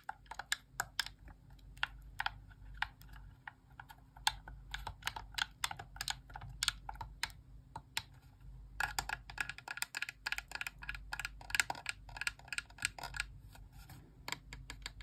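Long press-on nails repeatedly tap and press the face buttons, D-pad and sticks of a hand-sized, hollow white plastic Xbox core wireless controller held in both hands. The result is a rapid, uneven stream of short, bright plastic clicks and taps that stop almost instantly, over a faint low hum.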